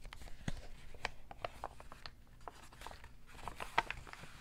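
A white and pink printed Victoria's Secret paper shopping bag with rope handles, medium-sized, hollow and empty, lies folded on a red textured mat and is handled, crinkled and tapped with fingertips and short painted nails. Quick, dry crinkles and sharp papery taps with bright edges sound over a steady low background hum, each dying away almost at once.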